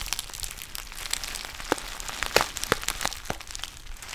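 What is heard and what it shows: A black foil-lined plastic tea pouch with a white label is crinkled with the fingertips and fingernails close to the mic. It makes a steady stream of dry, bright crinkles and sharp crackles, with a few louder snaps near the middle that each cut off almost at once.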